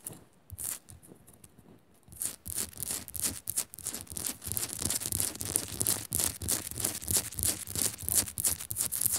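Long nails on both hands scratch quickly over a small, solid pink rock-salt crystal of a pink Himalayan salt lamp resting on a metal base. After a quieter, sparse opening of about two seconds, the scratching becomes a fast, steady run of bright, gritty rasps, about three strokes per second, with little ring after each.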